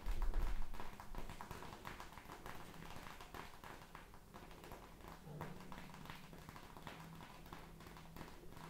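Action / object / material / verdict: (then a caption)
tap / plastic pouch of gel beads / plastic, gel / none. Long red-painted nails tap and press a palm-sized plastic gel bead ice pack held close: a clear, flexible pouch partly filled with teal gel beads, soft and squishy. A louder, heavier burst of tapping opens the clip, then settles into a steady run of quick, soft, dry taps at about four per second. The taps are low and muffled, with a faint squishy rustle.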